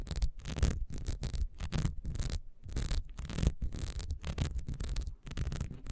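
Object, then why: Ribbed beeswax candle. Long fingernails on both hands scratch the ribbed sides of a solid, beehive-shaped beeswax candle standing upright. The result is a rapid series of short, rough scratching bursts with a dull, low-heavy body and brief gaps between strokes.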